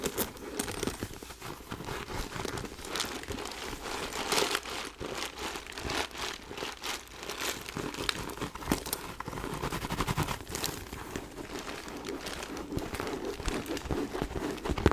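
Long nails scratch and tap a small, hollow, white quilted faux leather backpack with gold chain hardware. A steady stream of crinkly scratching is heard, with short, dry taps that die away at once. The texture stays bright and rustling throughout.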